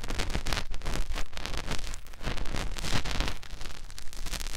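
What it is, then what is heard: Silicone ear of a binaural microphone being rubbed. Fingertips rub and press into the ear canal of a white, soft silicone ear mounted on a white binaural microphone body. The result is a close, continuous scratchy rustling over a heavy, muffled low rumble, with quick pulses of friction swelling and fading throughout.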